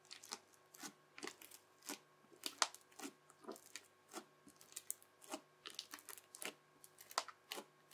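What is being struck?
Crunchy slime pressed with a plastic knife.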